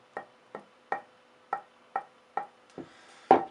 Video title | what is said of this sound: Luthier Wood Review: Purpleheart dense hardwood beautiful color hard to work with tonewood | You can work it through the piece, you can hear the dink.